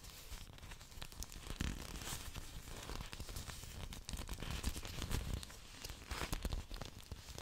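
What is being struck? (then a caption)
Thick orchid leaves scratched by fingernails. Long dark nails scratch and rub along a fan of thick green orchid leaves. A quiet, steady run of dry, crinkly scratching and rustling, with brief sharp spikes of bright crackle over a soft low rumble.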